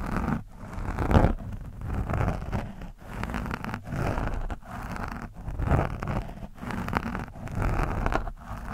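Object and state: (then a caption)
Foam microphone windscreen being scratched. The metal tip of a screwdriver scratches and pokes a soft, porous orange foam windscreen on a microphone. The result is dense, muffled scraping and rustling that is heavy in the low end, with little high content. It comes in bursts broken by short, near-silent pauses.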